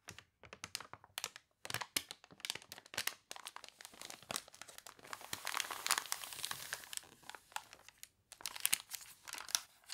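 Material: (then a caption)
Glossy paper. Hands turn and crinkle the wavy, stiffened pages of an open glossy paper toy catalog while long nails scratch across the printed paper. Dense, bright crackles and crunches come in rapid bursts, with a longer continuous rustle in the middle and sharp, quick-fading scratches toward the end.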